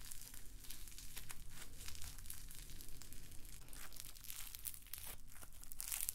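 A palm-sized, solid lump of pink floam, slime packed with small foam beads, is squeezed and kneaded between the fingers and fingertips. It produces a dense, continuous run of bright, fine crackling and crinkling pops for about six seconds, with a soft low rumble underneath.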